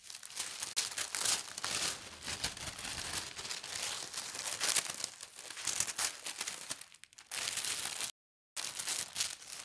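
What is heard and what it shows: A thin leaf-and-berry printed tissue paper sheet is smoothed on a table by fingertips with long red nails and briefly lifted. The paper gives steady, bright crinkling and rustling with a quieter stretch near the end. A moment of silence follows, then the crinkling resumes.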